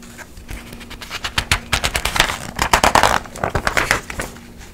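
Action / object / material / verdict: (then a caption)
scrape / glossy paper magazine pages / paper / none. An open glossy paper magazine is held in the air while its pages are pinched and flipped quickly by a hand with long nails. A rapid series of crisp, bright rustling page turns rises in intensity toward the middle, then eases off.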